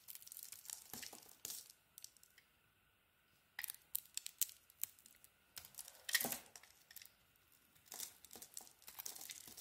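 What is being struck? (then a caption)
Solid bar of soap scraped with a small metal blade. A small metal blade scrapes a solid bar of soap, orange inside with a green coating, held in the hand and shedding crumbly shavings. Bursts of dry, crisp, bright scraping and crackling alternate with quiet pauses, over a faint steady tone in the background.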